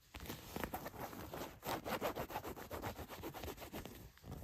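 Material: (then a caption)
Denim. Long white nails scratch and rub the back pocket of a pair of blue denim jeans laid flat. The result is a steady run of quick, raspy fabric strokes with a soft, low scuffing texture and a brief pause near the end.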